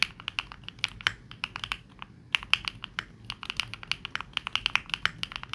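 A 65% mechanical keyboard, the Neo65, with dark and pink plastic keycaps, is typed on rapidly by both hands using fingertips. The sound is a fast stream of crisp, bright clacks with very short decay and little low end. There is a brief pause a little after the two-second mark.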